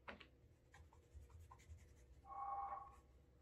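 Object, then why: Leather dress shoe. A cotton cloth over the fingertips rubs wax in small circles on the toe cap and side of the upper of a brown leather Alden Straight Tip Blucher cap-toe shoe fitted with a shoe tree, working up a wax burnish. Quiet, soft brushing scuffs come in short strokes, then the cloth grips and gives a brief squeaky, tonal whine near 800 Hz before easing back to faint rubbing.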